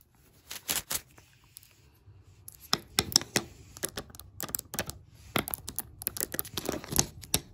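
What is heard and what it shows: Long black nails tap and scratch across large, solid hardwood floor planks. Sharp, dry, bright clicks come in quick irregular bursts, with a quieter stretch of soft scratching near the start. Each tap stops almost instantly, with no ring.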